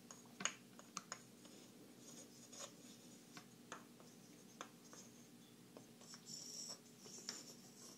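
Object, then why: Small wooden blocks. Long nails tap and scratch small, solid, light-colored wooden puzzle blocks held in both hands, and the pieces are knocked and slid against each other. Sharp, bright clicks rise from a faint, steady hiss, with softer scraping rustles in between, including a longer brushing stretch near the end.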